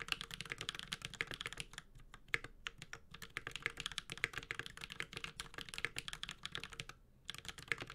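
A Space65 Cybervoyager 65% mechanical keyboard with a metal case, Holy Panda switches and ABS plastic keycaps is typed on continuously with the fingertips of both hands. Dense, bright, crisp clacks follow one another rapidly with very short decay, broken by brief pauses near two seconds and around seven seconds.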